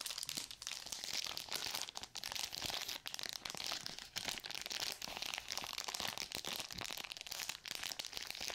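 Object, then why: Plastic and paper surgical glove pouch. A sealed plastic and paper surgical glove pouch is bent, squeezed and crinkled in both hands with long nails. The result is a steady, quiet stream of bright, papery crinkles and crackles with almost no low end.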